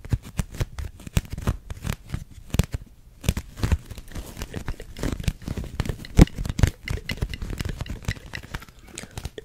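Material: Plastic.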